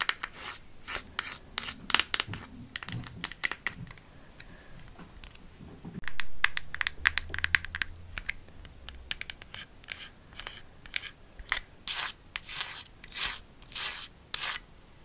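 A small, empty-looking white cardboard gift box is held in hand close to the mic and tapped and scratched with long nails. Crisp, bright clicking taps come in quick, irregular bursts, mixed with scratchy scraping strokes, including a louder scrape about midway and longer swishing scratches toward the end.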